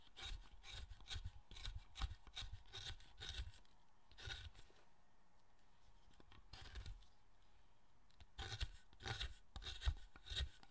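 A steel chisel cuts and scrapes a large, solid pale-wood carved statue of the guardian figure Zōchōten held on a workbench. Rapid runs of short, dry, rasping strokes with a low thud under each are heard, broken by a quieter pause in the middle before the scraping resumes.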